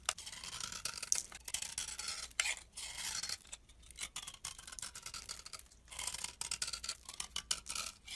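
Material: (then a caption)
Soap. A thin remaining piece of solid tan bar soap, held in fingers, is scraped with a metal blade. The result is a steady run of dry, bright scraping and shaving strokes with short crisp edges and almost no low end.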